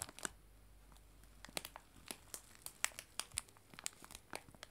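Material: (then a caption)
Cellophane. A clear cellophane bag of dried loose tea lies flat on a table and is pressed, rubbed and scratched with fingertips and long nails. It makes a string of sharp, bright crinkles and crisp scratchy snaps, each dying away almost instantly. Quiet gaps with a faint low hum separate the bursts.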